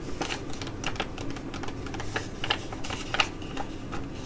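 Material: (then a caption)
Foil. A filled tea-tree foil sheet mask pouch for Korean skin care is crinkled and scratched with long nails, then laid flat on a table and scratched there. The sound is a dense, continuous crackle of crisp foil rustles and bright, sharp scratching ticks, with no pauses between them.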